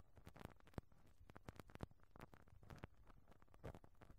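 A pink rubber-bristle brush on a black stick rubs back and forth over the round, perforated, hollow metal mesh grille of a small microphone capsule. It makes a quiet, dense patter of soft scratchy brushing strokes, each with a low, muffled thump underneath and a very short decay.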